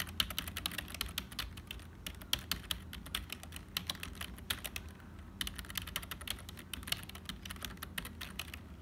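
Fingertips of both hands type continuously on a black HP full-size plastic keyboard with a hollow build. Quick, bright, dry clacks come in a steady run over a low, constant background hum, with a brief lull just past the midpoint before the typing picks up again.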